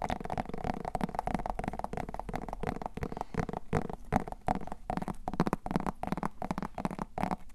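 A small whole orange pumpkin, a hollow gourd with a firm rind, is held in both hands and tapped and scratched with long painted nails across its surface. Quick dull knocks and scrapes come one after another, with a low hollow body around 190 Hz and little high content. Each tap dies away almost at once.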